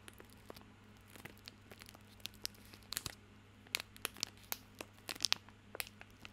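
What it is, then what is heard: Plastic film soap wrapper. Fingertips scratch and crinkle the crinkly plastic film wrapper of a small bar of soap held in both hands. About fifteen sharp, bright crackles and short scratchy ticks pop out irregularly over a quiet, steady low hum. The sound is mostly high-pitched and dies away almost instantly after each crinkle.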